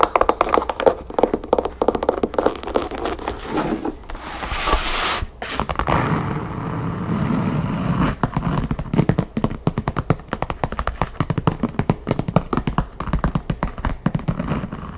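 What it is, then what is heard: Wooden backgammon case with printed covering. Long painted fingernails rapidly tap the flat top of a large, hollow, closed wooden backgammon case covered with a vintage world-map print. The sound is a dense run of short, dull, woody clicks and thunks with almost no ring, broken around the middle by a stretch of softer, hissy scratching before the fast tapping resumes.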